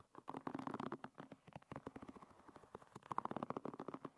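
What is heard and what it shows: Long red nails flick and scratch the tips of a hairbrush's many thin wooden pins. The result is a quiet, rapid, uneven run of dry clicks and scratches with a faint hollow ring around 1 kHz.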